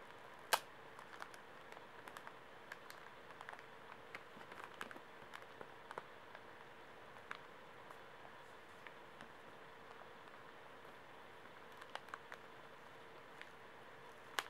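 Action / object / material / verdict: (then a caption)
scrape / plastic-wrapped pocket tissue pack / plastic film / none. Fingernails scratch and rub the plastic film of a small, soft pocket tissue pack held in the hands while fingers squeeze it. The result is quiet, scattered, crisp crinkles and sharp ticks with bright edges over a faint, steady mid-pitched hum, with the loudest snap near the start.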